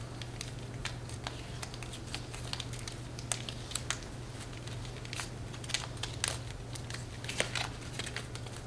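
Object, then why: Deck of coated-paper playing cards. A deck of thin coated-paper playing cards with blue backs is held in both hands above a glass table and shuffled and squared by fingertips with long nails. Quick, crisp crinkling snaps and bright ticks flick over a steady low hum, with a few sharper clicks standing out.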